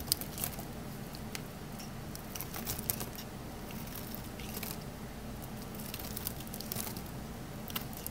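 A small, solid green Palmolive bar of soap is held in the hand while a metal utility knife blade shaves and scrapes it, sending dry, crunchy flakes falling. Soft, crisp scraping and crackling crunches repeat steadily, with brief, bright flicks standing out over a low, continuous rumble.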